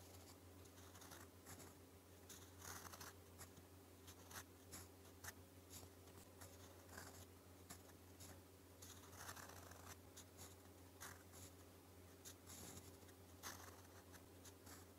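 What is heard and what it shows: A gold metal fountain pen nib writes Korean in purple ink on a thin, flat sheet of lined white paper. Quiet, dry scratching strokes come in short bursts of bright, high friction over a steady low hum.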